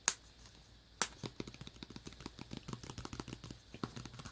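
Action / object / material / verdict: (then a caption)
tap / tablet cover / plastic / none. Fingers tap on a tablet cover. Two sharp, bright clicks ring out about a second apart, then a steady run of quicker, lighter dry taps follows, each cutting off almost at once.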